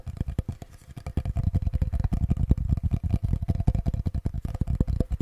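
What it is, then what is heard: Wooden cutting board tapped with fingertips. A small solid wooden cutting board with a handle is held in both hands close in front of the microphone and tapped and scratched with fingertips and nails. A rapid, steady stream of soft, dull, low wooden taps follows a brief quieter stretch near the start. Each tap is short and dry, with almost no ring and very little brightness.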